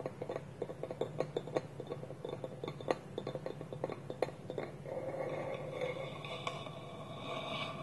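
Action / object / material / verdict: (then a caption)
tap / small hollow wooden bowl with lid / wood / none. Fingertips and nails tap the side of a small, polished, hollow wooden bowl with a wooden lid held against it, making a run of quick, dry, hollow knocks with a woody tone around 500 Hz. About two-thirds of the way through, the taps give way to a steadier, softer scratching texture with a few light knocks.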